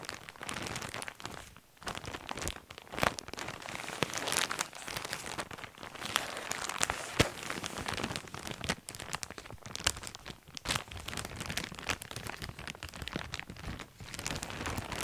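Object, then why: Thin plastic bag holding fabric lanyards. Fingertips crinkle and squeeze a large, clear, thin plastic bag full of coloured fabric lanyards and cords, producing a dense, continuous stream of crisp, bright crackles and rustles. Sharp snaps pop out above the steady texture, and each sound dies away almost instantly.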